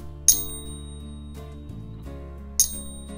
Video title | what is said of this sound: Product Review: Money Metals Pocket Pinger! | you can hear that ring unmistakable sound of silver